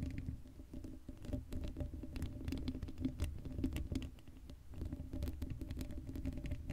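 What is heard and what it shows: Long blue acrylic nails on both hands scratch across the hollow black woven metal mesh grille of a Blue Yeti microphone head, which has no foam cover. The result is a dense, continuous patter of quick scratchy taps and rasps, heavy in low rumble with a steady tonal hum near 260 Hz and faint bright ticks.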